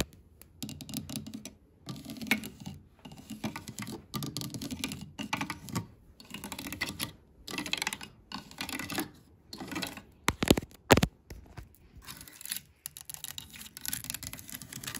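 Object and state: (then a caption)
Painted wooden block letters tapped and scratched with long nails. Long green claw nails and black stiletto nails decorated with googly eyes tap and scratch on a sign of chunky, distressed, white-painted solid wooden block letters resting on a shelf. The sound is dry, rapid clicking and scraping in short bursts separated by brief pauses, with a couple of louder sharp knocks near the end.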